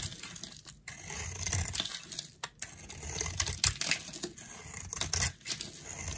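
A solid, dry, round green bar of soap held in the hand is carved with a utility knife blade, giving bright, dry scraping and crisp crackling as flakes shave off. The strokes come in quick, uneven bursts with short pauses between them.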